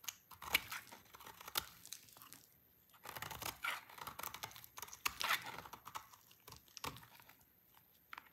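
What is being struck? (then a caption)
Soap bar scraped with a knife blade. A utility knife blade scrapes repeatedly across a small, solid, dry white-orange soap bar, breaking off curls of soap. Each pass makes a dry, bright, crackling scratch, like crisp tearing, with sharp snaps in between. A brief near-silent pause interrupts the quiet scraping before it continues.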